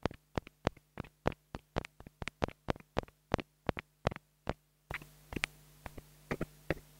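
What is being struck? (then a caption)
Plastic mini lavalier microphone. A small black plastic mini lavalier microphone, held in a hand, is tapped with a wooden stick in a quick, uneven series of dry, sharp clicks that stop almost instantly. A steady low hum runs underneath throughout, and in the last couple of seconds a brighter background hiss rises behind the taps.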